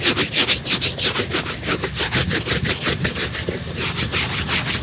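A street cobbler outdoors on a tarp holds a single hollow, empty black leather formal shoe in one hand and briskly brushes and rubs it with a shoe brush in the other. Rapid, steady back-and-forth strokes come about three per second, each a bright, hissy swish with a soft low thump from the shoe underneath.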